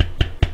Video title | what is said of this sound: Elephone P9000 - 4GO RAM Mediatek Helio P10 et plus encore - Alors un vrai Flaship ? | ici ça vibre plus vous l'entendez